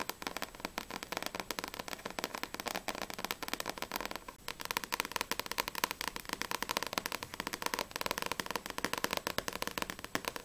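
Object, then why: Paperback book with glossy paper cover. Long painted nails tap quickly on the glossy paper front and back covers of a small paperback manga volume, Blue Exorcist vol. 3, with a solid stack of pages, held in both hands. The result is a dense, continuous stream of short, dry, crackly clicks, bright and light with almost no low end and no ring after each tap.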